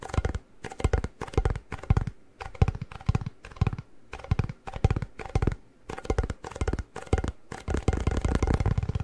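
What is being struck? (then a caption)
Cardboard chip tube with plastic lid. Fingertips tap the plastic lid and the side of a hollow cardboard Pringles chip can. The result is rapid, irregular bursts of short, dull, hollow taps with a deep low-end body and very little brightness, separated by brief pauses.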